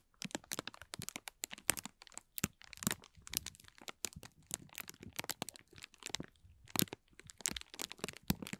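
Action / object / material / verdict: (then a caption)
scrape / thin clear plastic film crumpled by hand / plastic / none. Thin transparent plastic film, crumpled into a hollow, empty ball, is twisted and crinkled between the fingertips of both hands. It gives dense bursts of sharp, bright crackling and crinkling that stop almost instantly, with brief quiet gaps between clusters. The crackling continues steadily throughout.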